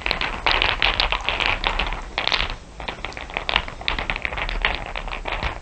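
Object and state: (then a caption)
Pile of glass marbles. Long nails and fingertips tap and rake over a heap of small solid glass marbles, dark and shiny with some clear blue ones. A dense run of bright, crisp clicks and rattling fills the clip, easing briefly near the middle before building again.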